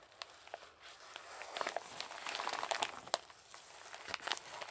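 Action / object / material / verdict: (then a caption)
scrape / paper padded mailer envelope / paper / none. Gloved hands squeeze, crumple and rub a Jiffy Airkraft size 2 padded mailer, a hollow envelope with a paper outer and bubble lining that holds a parcel, then start working at its flap. The result is quiet, dry crinkling and crackling with many sharp, bright snaps over a thin papery rustle, and almost no low end.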